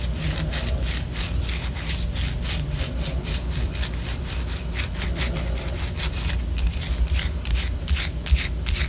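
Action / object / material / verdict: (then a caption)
scrape / wax pillar candle / wax / none. A white solid wax pillar candle, held low, is scratched with long orange nails in quick, steady back-and-forth strokes. Each stroke makes a bright, hissy scrape over a constant low rumble, with the rhythm holding evenly throughout.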